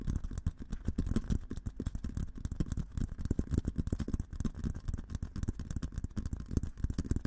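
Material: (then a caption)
Steel. An olive-green painted, hollow steel military helmet is held in both hands while fingertips tap rapidly on the sides of the shell. The result is a quick, continuous run of soft, dull, low thumps with almost no ring and no bright content.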